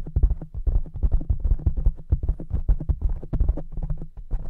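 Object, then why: Foam microphone windscreen. Fingertips of both hands rapidly tap a soft black foam cover on a large silver microphone. It makes a fast, uneven patter of dull, muffled thumps with deep low-end weight, each one dying away almost instantly, with no bright or high content.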